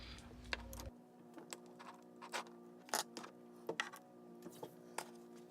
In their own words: So you can hear the tapping sound now. So the nail is completely dry.